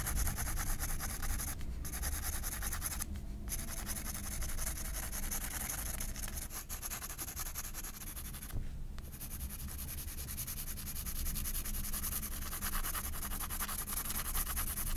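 A graphite pencil rubs dense shading and scratches lines across a white paper page of a spiral sketchbook. It makes a steady, bright scratchy rasp over a constant low rumble, with brief gaps in the scratching near 2, 3 and 9 seconds.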